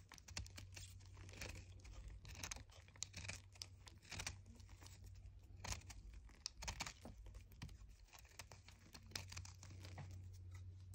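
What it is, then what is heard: Chalk disc being shaved. A red utility knife blade shaves a small, solid white chalk disc held in the fingers, producing quick, dry, crinkly scraping strokes with bright gritty edges. The strokes come in uneven bursts over a steady low hum, and the scraping leaves crumbly chunks of chalk.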